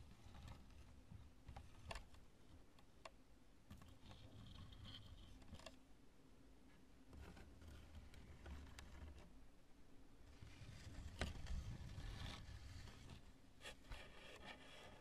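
Long acrylic nails scratch and tap the bulbous surface of a large, lumpy chunk of cured polyurethane spray foam that is light and solid. Soft, dry scratching and brushing runs beneath scattered sharp, short taps with a bright edge, over a quiet low rumble. The sounds stay gentle and close throughout, with a busier, louder stretch of scratching near the end.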